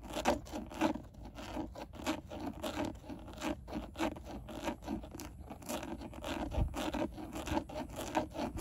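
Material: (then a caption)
Plastic. Long nails scratch the grained surface of a textured black plastic airbag cover on a steering wheel. Rapid, repeated dry scraping strokes overlap in a steady, raspy rhythm, with a mid-range body and brief bright edges on each stroke.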